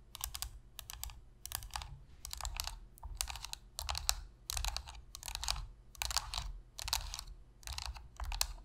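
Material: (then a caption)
Plastic. Long pink fingernails tap rapidly on the shell of a hollow black plastic Sony PS3 controller resting on a surface. The taps come in quick, bright clicking bursts separated by short pauses, over a steady low hum.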